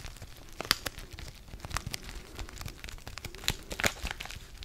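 Fingertips crinkle and rub a small, flat DavidsTea sachet of foil-laminated paper filled with tea, held close to the mic. Dense, bright crackles and crisp, tearing-like crunches sound with short, dry spikes and almost no ring, over a faint low rustle.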